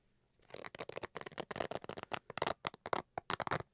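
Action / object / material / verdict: scrape / fabric-covered hard-shell carrying case / fabric / none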